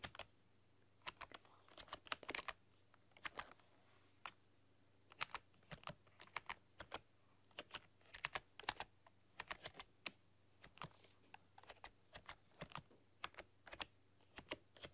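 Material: Plastic.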